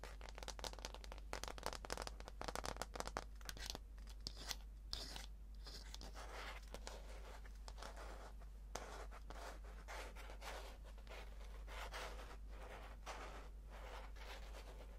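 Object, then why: Aluminum keyboard underside. Fingertips and nails tap and scratch the brushed aluminum underside of a slim white keyboard, working over its solid metal back panel. A dense, quiet stream of short crackly taps and scratchy scrapes is heard, with sharper clicks in the first few seconds and bright hiss throughout. A steady low hum runs underneath.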